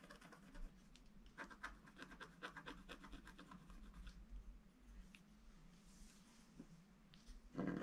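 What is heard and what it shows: A wooden stylus scratches the lower edge of a flat black sheet of wax-coated scratch art paper, making a quiet run of short, dry scratching strokes over a steady low hum. The strokes come in brief bright bursts, and a louder rustle closes the clip.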